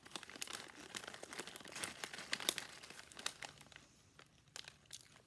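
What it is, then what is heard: Foil-lined plastic chip bag. A small Cape Cod potato chip bag of foil-lined, metallized plastic film, hollow and seemingly partly full, is held in both hands and squeezed with the fingertips. It gives quiet, dense, bright crinkling and crumpling crackles with sharp little pops. The crackling thins out toward the end into sparser snaps.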